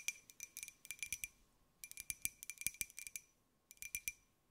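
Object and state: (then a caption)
Ceramic jar tapped with nails. A small, hollow, white glazed ceramic jar with a pineapple print is held in the hands and tapped with long nails. Quick, dry clicks with a bright ring near 2.4 kHz come in three rapid bursts of about twenty hits. Each tap dies away almost instantly, with quiet pauses between the bursts.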